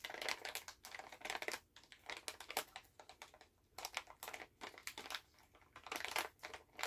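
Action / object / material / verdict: tap / plastic candy pouch / plastic / none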